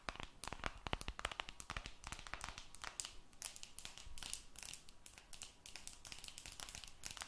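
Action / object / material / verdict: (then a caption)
tap / smartphone with aluminum back / aluminum / none. An aluminum-backed smartphone with a silver metal back is held close to the mic and scratched and tapped with long red nails. Rapid, dense clicky taps and crinkly scratching run throughout, with bright, crisp edges and almost no ring after each tap.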